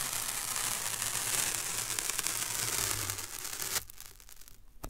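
A long strip of thin white paper masking tape is held up, its end pinched and rubbed between the fingertips. A steady, bright, dense crinkling and rubbing rustle fills the first few seconds, then cuts off abruptly. Only faint rustles remain, with one last crisp crackle at the very end.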